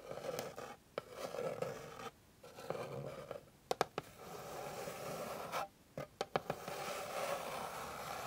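Long pink nails scratch across a flat, solid, light wooden board, producing bursts of dry, raspy scratching separated by brief silent pauses. Short, sharp clicks stand out near the middle and later in the clip, and the rest is steady, mid-toned rubbing in a small, quiet space.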